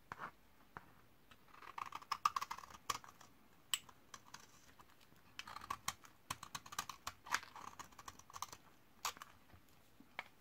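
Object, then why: Bar of laundry soap scraped with a metal blade. A metal utility-knife blade repeatedly scrapes along the corner of a hand-held, hand-sized bar of solid white 72% laundry soap from 2012, dried for 8 years, shaving crumbly flakes onto a pile. Quick, dry, crisp scraping strokes come in uneven bursts, with sharp crackly clicks and a bright, hissy texture centered around 1 kHz and higher, and almost no low end. Each stroke ends abruptly with almost no ringing, against a quiet background.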